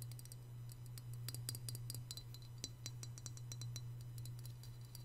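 A small white glazed hollow ceramic piggy bank is held in one hand over a marble surface while the other hand's fingertips and short nails tap its glossy body and ears. The result is a quick, irregular run of light, bright clinking ticks that die away almost instantly, heard over a steady low hum.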